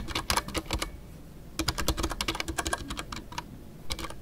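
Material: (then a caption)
Plastic. Fingertips type on a full-size Ducky One 2 mechanical keyboard with a white case, MX Brown switches, and PBT plastic keycaps, including custom artisanal keycaps. Bursts of crisp, bright clacks with a soft low thock come in quick runs, separated by brief pauses.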